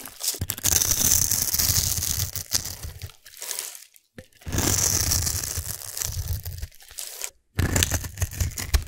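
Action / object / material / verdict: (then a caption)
scrape / bar soap cube carved with a metal blade / soap / none. A metal blade carves a solid, palm-sized black glittery soap cube held in one hand, scraping and slicing curls off its scored surface. Dense, crisp crunching and crackling scrapes run in three long bursts separated by brief silences. The sound is bright and high with a low, thudding undertone.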